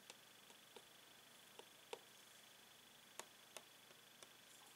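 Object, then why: Clear plastic blister pack on card. A metal pen taps along a hollow clear plastic blister on yellow card holding a toy pen, while a latex-gloved hand steadies the card. Sparse, irregular, quiet taps land as short, dry, bright plastic clicks with a hollow mid tone and almost no ring, over a faint steady hiss.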